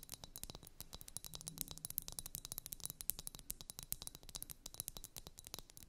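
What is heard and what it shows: Long nails tap rapidly on a pair of blue, liquid-filled glass ice-globe wands. Each tap is a short, bright, high click with no ring, over a faint low hum.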